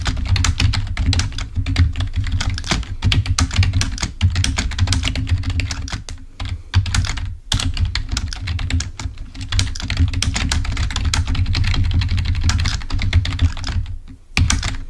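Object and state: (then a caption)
Plastic membrane keyboard being typed on. A full-size black plastic Microsoft membrane keyboard, wired and lying on a white table, is typed on rapidly with the fingertips of both hands. The result is a dense stream of short key clicks with a low thudding body, bright tick edges and brief pauses.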